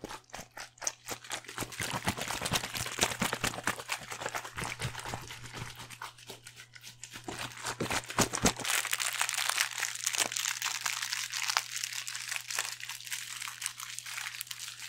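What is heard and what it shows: A small, thin, hollow, shiny silver metallic foil pouch, held in one hand by the fingertips, is crinkled and squeezed close to a microphone. It makes dense, rapid, bright crackling and rustling, swelling louder in the second half, with a steady low hum underneath for the first several seconds.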